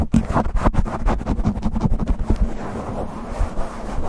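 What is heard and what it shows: Fingertips and nails quickly scratch and pinch a black foam windscreen on a silver condenser microphone. The result is a dense, muffled, bass-heavy crackling and rumbling, with rapid rough bursts that blur into a steady scratchy texture and no bright edge.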